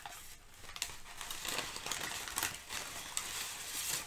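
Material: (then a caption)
Paper. Crumpled sheets of thin brown kraft packing paper are shifted and crinkled with fingertips and long nails. The result is a steady, dense, bright crinkling with sharper crackles scattered through it and very little low end.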